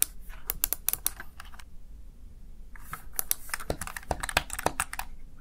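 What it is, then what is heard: Plastic gaming keypad being typed on. Fingertips rapidly press the keys of a Razer Tartarus Chroma plastic gaming keypad, producing quick, bright plastic clicks with almost no ring. A brief lull falls midway before the clicking picks back up and continues to the end.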